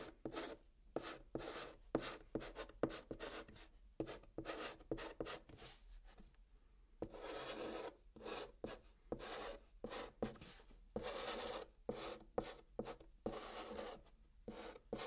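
Fingers hold a chalk stick and write text on the flat top of a brown cardboard box, making dry scratching strokes. Short, quick rasps and rubs come in bursts with brief pauses, interspersed with a few longer continuous scrapes. The sound is mid-range, with no ring after each stroke.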